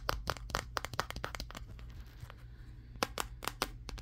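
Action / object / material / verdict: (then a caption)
tap / smartphone glass back / glass / none. A Samsung Galaxy S23 smartphone, the recording phone itself, is held in front of a mirror and tapped with fingertips on its matte glass back and around the camera lenses. Quick, dry, sharp clicks come in an uneven rhythm, with a pause in the middle, over a steady low hum. Each tap is bright and dies away almost instantly.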